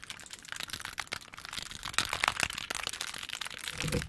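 Long pointed nails tap and click rapidly on the faces of a small hand-held plastic 3x3 Rubik's cube with colored stickers and a solid mechanism. The result is a dense stream of sharp, bright plastic clicks with almost no ring, growing slightly louder toward the end.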